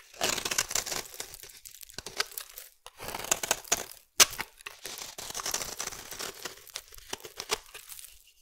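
A metal utility blade cuts and scrapes a solid green bar of soap, breaking chunks off it. Bright, crisp crunching and scraping come in dense bursts with brief pauses, including one sharp crack near the middle.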